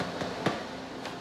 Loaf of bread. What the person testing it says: we listen for a hollow sound or a crack in the bread which says it's ready